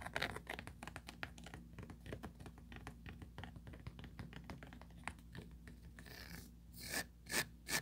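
Long pointed nails trace and scratch along the raised rim and mesh bottom of a small, empty oval plastic tray with a ridged interior. The result is a quick run of soft, dry, short scratches and ticks over a low steady hum, ending in a few louder, bright rasping sweeps.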